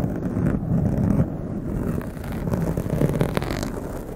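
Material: Foam.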